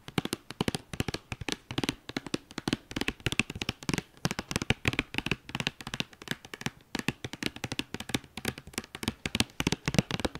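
Long dark-painted nails rapidly tap and scratch the top of a hollow, flat white cardboard eyeshadow palette sleeve with a red star logo, resting on a fleece blanket. The result is dense clusters of short, dry, papery clicks with no ring, interspersed with light scratching.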